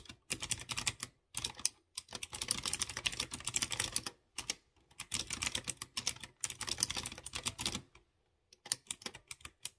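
Fingertips type on a light blue plastic mechanical keyboard with round chrome keycaps on clear-housed blue switches. Fast bursts of bright, sharp clicking taps run in rapid runs, broken by short silent pauses. A few scattered single taps come near the end.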